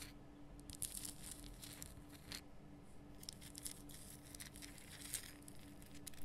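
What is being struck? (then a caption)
Rock salt lamp. Long nails scratch and tap over the rough, solid crystal surface of a large lit pink Himalayan rock salt lamp from both sides, making bright, crackly scraping bursts with soft, short taps. A steady low hum runs quietly underneath throughout.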